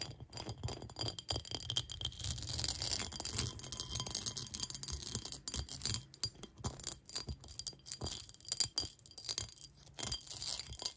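Long acrylic nails rapidly scratch and tap the patterned surface of a clear, textured, hollow cut-glass bowl that sits empty on a lap. The result is a dense stream of bright, gritty scratching mixed with quick, high glassy clinks that ring only briefly, over a faint low rumble.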